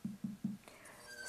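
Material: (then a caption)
Clay. Three quick, dull taps on the bottom of a leather-hard clay plate being trimmed on a potter's wheel, checking for hollowness. Each makes a short, low thud that dies away fast, leaving faint, soft background noise.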